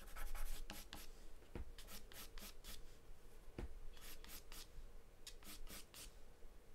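A graphite or charcoal pencil, held in the hand, scribbles, scratches and shades across a large white paper sheet taped flat to a dark surface. Quiet, bright, raspy strokes repeat in quick bursts over a low, steady rumble, with a couple of soft dull taps between the strokes.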